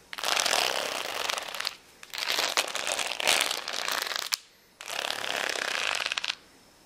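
Fingertips and nails scratch and tap the gems of a flat plastic rhinestone sticker sheet resting on a towel. Three bursts of dense, bright, crackly scratching and clicking are heard, separated by short quiet gaps. A sharp tap ends the second burst.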